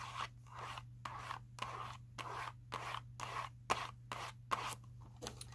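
Long nails tap and scratch a small Skittles cardboard box that appears full of candy as it is held in the hands. Repeated short, papery scraping strokes alternate with a few sharper taps, over a steady low hum.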